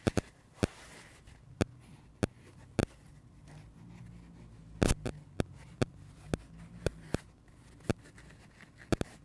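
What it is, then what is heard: Dry foam sponge tapped with fingernails. Fingertips and short nails tap and scratch the surface of a hand-sized, dry, pink porous foam kids' sponge with red speckles while it is held and pressed in the hands. Sharp, dry clicks land irregularly over a soft, low scratching and rustling bed, with a brief cluster of taps near the middle.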